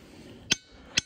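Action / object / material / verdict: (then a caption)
strike / stone boulder struck with a hammer / stone / dull. A glacial boulder is struck twice with a hammer, giving two short, sharp, high-pitched clinks with almost no ringing after each hit. The dull response shows it is not a good ringing rock.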